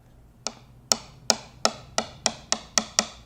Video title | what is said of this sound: Membuat Gitar Listrik Model Telecaster Thinline Part 9 | you want a nice uniform sound like that. If you end up getting like a dead clunk sound, then you know something's not seated right.